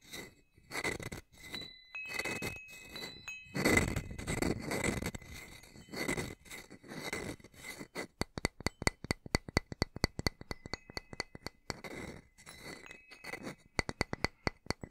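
A small hanging wind chime with hollow metal tubes and a wooden top bar is held by its string and struck and tapped with its wooden striker piece held in the other hand. The first half is a series of soft, broadband scraping and rustling bursts. It then shifts to rapid, sharp metallic taps with thin, bright ringing tones held underneath.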